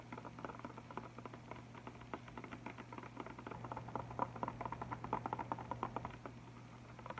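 Fingertips and nails tap quickly on an Arteza chalk marker box full of markers, with a clear plastic top and a cardboard front, held close. The result is a quiet, fast, uneven patter of short dry clicks and soft taps, with a steady low hum underneath.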